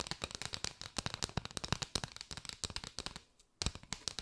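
Long white nails rapidly tap and scratch along a curved bundle of many striped paper drinking straws, their hollow tubes giving off dense, dry, bright clicks with very short decay. The tapping runs steadily, drops to a brief near-silent pause past the three-second mark, then resumes.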